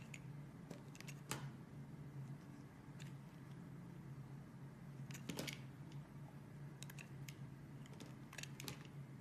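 A metal utility blade carves a solid translucent yellow glycerin soap bar held in the hand, shaving off thin slices with soft scraping and cutting sounds. Short, bright crisp slicing strokes come in small clusters over a quiet, steady low hum, each fading quickly.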